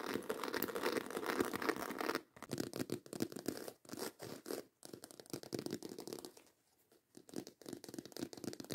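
Long white acrylic nails scratch fast over the ridged texture of a black croc-embossed faux leather handbag, making a dense, raspy, crinkly scraping with bright hiss. The scratching runs continuously for about two seconds, then breaks into quick bursts separated by short gaps, with a brief quiet pause near the end before it resumes.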